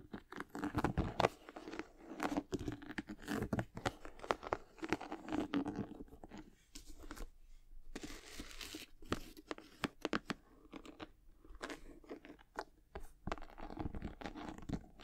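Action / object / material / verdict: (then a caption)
scrape / leather sneaker with rubber sole / leather / none. A high-top sneaker with white leather and glossy patent panels and a rubber sole, held in both hands, is scratched and tapped with long acrylic nails. The result is a quiet, dense run of dry, short clicks and scratchy crinkling taps with almost no ring, carrying a low-mid body and little brightness.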